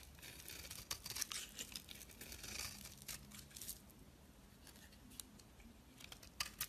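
A utility knife blade scrapes flaky shavings off a solid white bar of soap held in the hand. The scraping comes as a string of quick, dry, bright crackles and rasps, busiest in the first few seconds, then thinning to scattered sharp flicks over a faint low hum.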